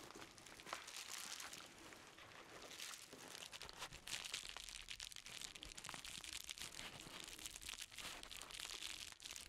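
An empty, medium-sized yellow padded paper mailer envelope with Amazon print is held and crinkled in black-gloved hands. A steady, quiet stream of dense, bright crinkling and crunching runs throughout, with many short sharp crackles and almost no low end.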